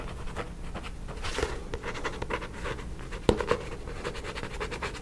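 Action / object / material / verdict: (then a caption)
scrape / paperback book with glossy card cover / card / none. Fingernails scratch the glossy card front cover of a paperback book held upright beside a microphone. The result is a continuous, rhythmic papery scratching with a low rumble underneath, broken by two sharper clicks around 3.3 and 3.5 seconds.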